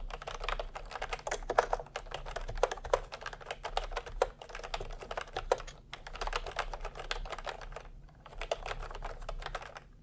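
Fingertips type fast on a full-size plastic retro computer keyboard with round pastel typewriter-style keycaps and a hollow body, resting on a white cloth. Dense bursts of short, clicky keystrokes with a hollow plastic clack rattle on steadily, broken by a few brief pauses.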